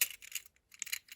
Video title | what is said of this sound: My ENTIRE Hot Wheels Collection! | when you shake it around, it's just a lot of movement